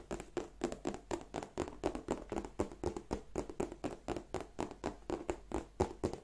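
Long nails tap and scratch the flap and front of a large, hollow, black glossy croc-embossed leather bag. The result is a quick, fairly regular run of soft, short, dull taps, about four per second, each with a low-mid knock around 370 Hz and a faint bright tick, with light scratching in between.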